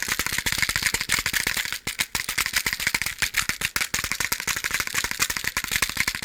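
A box of matches is shaken by hand, giving a steady, dense rattle of loose matches inside the box. The crisp, bright clicks come in rapid bursts with brief pauses near the two-second and four-second marks.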